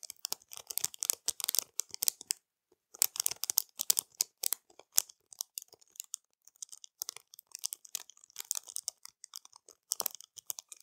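Long matte nails scratch and tap quickly over a flat, clear plastic packet of pearl-like plastic bead stickers resting on a dark cloth. The result is a dense, quiet stream of bright, crisp crinkles, clicks and scratches with almost no low end, broken by a short silence near the three-second mark.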